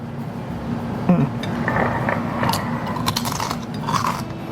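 A crispy fried lumpia, a spring roll filled with smoked fish and salted egg, is cut through, and its fried wrapper gives a series of sharp, dry crunches and crackles over a steady low background hum. The crunching confirms the roll is properly fried and crispy.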